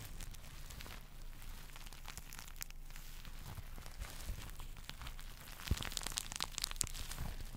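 Fingertips and nails scratch and flip the reversible pink sequins on a small soft pillow held in both hands. The result is a steady, dense crinkling rustle full of bright, quick clicks and scrapes, over a low background rumble. It grows louder and sharper toward the end.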